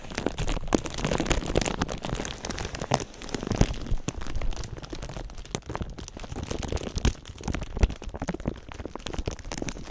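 A thin clear plastic sheet draped over a binaural ear microphone is crinkled and scratched with fingertips and nails. The result is a dense, continuous crackle of rapid crinkles and sharp snaps over a heavy low rumble, with brief louder bursts throughout.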